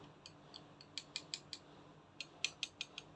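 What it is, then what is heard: Plastic action figure part. A plastic part of a 1/72-scale Vientianne Toys Kamaitachi "Devil in Hearts" Gundam Destiny x Barbatos Metal Build action figure is tapped, giving twelve light, high-pitched clicks at an uneven pace. Each click is short and bright, with almost no low end and almost no ring. The sound marks the part as plastic rather than die-cast.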